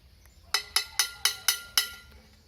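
A metal can is struck six times with a tool, giving a series of sharp, bright metallic clinks. Each tap has a quick attack and a short ring that fades fast.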